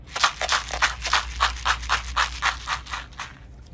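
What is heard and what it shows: A tube holding small colorful beads is shaken back and forth, giving 13 quick rattling bursts at a fairly steady pace of about three per second. Each burst is a bright, hissy clatter of beads against the tube over a faint low hum, and the shaking trails off softer at the end.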